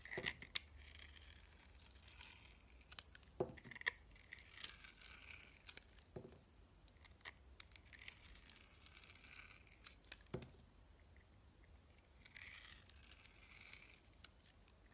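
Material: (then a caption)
Soap. A utility knife blade slices and scrapes thin layers off the flat face of a solid, rounded, hand-held soap bar with a glittery blue outer crust and white inside. Quiet, bright, crisp scratchy shaving sounds run throughout, with sharp clicks and small cracks as pieces break away.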